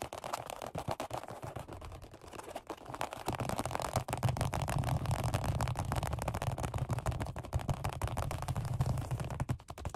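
Fingertips of both hands tap rapidly on a black padded workout bench seat with a red stripe, made of vinyl over foam. The dense, irregular taps land as soft, dull low thumps with very short decay, growing busier and louder after the first few seconds.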